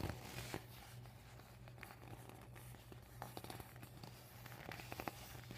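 Medium painted nails scratch and rub the thin plastic of a yellow panel on a deflated vinyl beach ball lying flat on a table. Soft crinkly scraping and sharp ticks sit over a steady low hum throughout.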